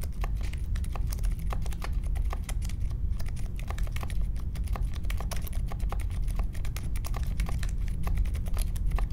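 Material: Plastic.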